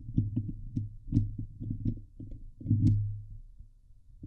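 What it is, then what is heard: Metal mesh microphone grille being scratched. Long nails of both hands scratch the hollow steel mesh grille of a Blue Yeti microphone. The result is a rapid series of deep, boomy thumps and rubbing bursts centred around 100 Hz, with a few faint bright ticks, swelling and fading unevenly.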